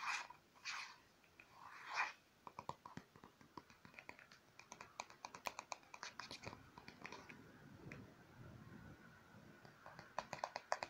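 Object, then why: Plastic lotion tube. A hollow white plastic lotion tube is held in the hand and tapped and scratched with long blue-painted fingernails. A few soft scratchy swells at the start give way to dozens of quick, sharp, dry clicks that die away almost instantly. The whole clip stays quiet and close.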